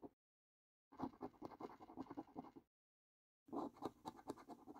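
A coin edge scratches the middle panels of a paper lottery scratch card, the same card throughout. Two bursts of quick, dry, rasping strokes are heard, separated by a short silence and a brief scratch at the very start. The sound is midrange and papery with no ring after each stroke.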